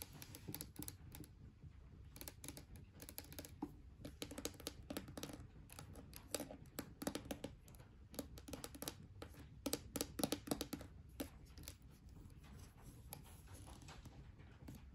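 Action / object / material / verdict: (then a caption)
tap / small plastic tub with lid / plastic / none. Long fingernails tap and scratch a small pink hollow plastic slime tub with a lid, held in the hand, while other tubs sit untouched nearby. The result is a fast, irregular run of dry, clicky taps with bright scratchy edges that stop almost instantly, over a soft low rumble.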